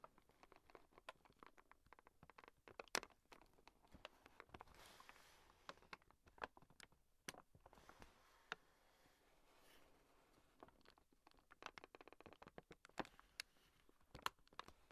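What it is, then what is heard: Kraft paper bag. Fingertips and short painted nails tap and scratch the surface of a medium-sized, hollow brown kraft paper gift shopping bag with rope handles and a red "Sampada Rishikesh" print; it is crinkled, held up in both hands and seems to hold something. The result is quiet, dry, crisp taps mixed with papery scratching and crinkling that stops at once with no ring.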